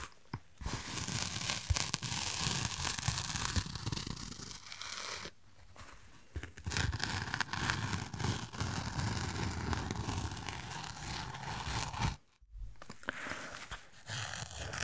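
A medium black nylon waist bag with a Doritos logo, hollow and apparently empty, is held in both hands and squeezed and rubbed with fingertips and nails close to the mic. The result is a dense, crinkly rustling and scratching with a bright, fabric-like hiss over a low rumble of handling. It breaks into brief quiet pauses around 5 seconds and again just after 12 seconds before resuming.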